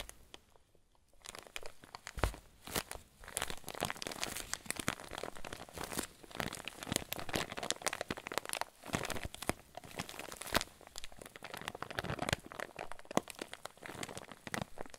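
A clear plastic zip bag full of white fluffy filling is held in both hands and squeezed with the thumbs. After a brief quiet start, it gives a steady stream of soft, dense crinkling and crunching with bright, crisp rustles and occasional sharper pops.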